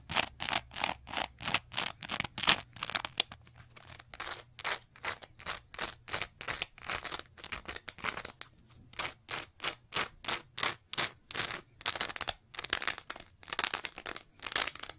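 Long nails rapidly scratch a green layered foam scrub sponge with a lighter foam layer and a bumpy textured face. The result is a steady run of quick, bright, raspy strokes with almost no low end, each stopping dry. The rhythm is interrupted by brief softer stretches.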